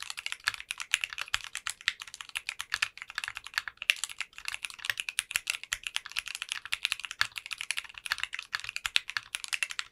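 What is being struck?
Mechanical keyboard with polycarbonate keycaps.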